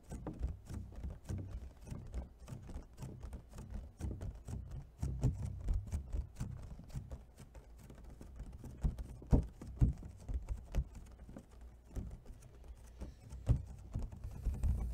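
Long fingernails tap rapidly on an empty, hollow clear plastic clamshell food container as it is turned onto its side edge. The taps are quick, dull and mostly low, each dying away almost instantly, in an uneven, steady patter. A few sharper, louder taps stand out in the second half.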